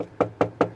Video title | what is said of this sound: Mazda 3 1.6 diesel, DPF additive faults... Fault finding and repair. | it sounds empty to me as well